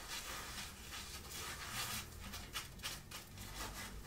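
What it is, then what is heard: Cotton shirt fabric being scratched. Long nails scratch and rub across a grey printed long-sleeve cotton shirt worn on the body, over the chest. A steady, bright, papery scratching runs throughout, with a few sharper strokes standing out near the end.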